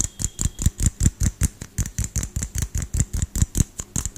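A small frosted LED light bulb with a hollow plastic dome is held in one hand and tapped quickly with the fingertips and nails of the other hand close to the microphone. About 22 short, hollow taps follow in a fast, slightly uneven rhythm, each a dull low thump with a crisp, bright click on top and almost no ring.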